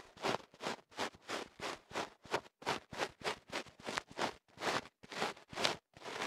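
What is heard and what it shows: A thin wooden ear pick scratches and rubs inside the opening of a tube of kenaf paper wrapped around a microphone held in one hand. It makes a quick series of separate, dry, papery scratching bursts. Each stroke has a bright, crackly hiss and almost no low end, with short silences between strokes.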